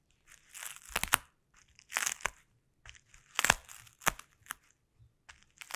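Fingertips wrapped in sticky tape tap and press on a sheet of clear plastic bubble wrap. The result is irregular bursts of bright, crinkly crackling, each cluster capped by a few sharp, dry snaps that die away instantly, with short silences between them.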